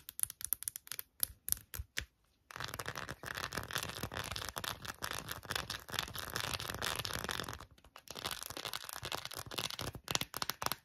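Long nails tap and scratch the front and back of an empty pink quilted silicone phone case as it is turned over in the hands. Quick, sharp, bright clicks open the clip, give way to a steady, dense rasping scratch, then return as mixed taps and scratches. The sound is dry and close, with no ring after each tap.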